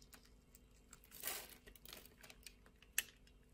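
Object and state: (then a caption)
Soap bar being shaved. A utility blade shaves flakes off the scored surface of a translucent orange bar of soap. The faint, bright, crinkly scraping comes as soft ticks and rasps, swelling into a longer shaving stroke before ending on one sharp, dry crack.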